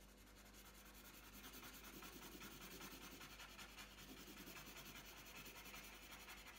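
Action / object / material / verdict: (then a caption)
scrape / wooden coloured pencil on a paper sheet / paper / none. The tip of a green wooden coloured pencil rubs back and forth across a thin, flat sheet of printed colouring paper lying on a tabletop. The result is a quiet, continuous scratchy rubbing with a bright, hissy texture and a soft rhythm of repeated strokes.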